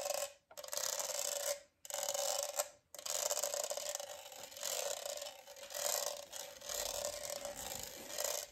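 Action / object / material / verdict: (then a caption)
scrape / studded plastic tumbler / plastic / none. Fingernails scratch and rub over the raised studs of a hollow, rainbow studded plastic tumbler with a straw. The result is a dense, raspy scraping with a bright hiss and a steady tone near 590 Hz. It comes in long strokes broken by short silences near the start, then runs on in uneven swells.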